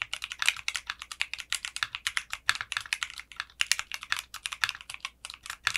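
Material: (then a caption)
Polycarbonate. Fingertips type on a mechanical keyboard with clear pink polycarbonate keycaps and a translucent case. About 40 rapid keystrokes sound as sharp, bright clacks, each dying away almost instantly, with nearly no low end beneath them.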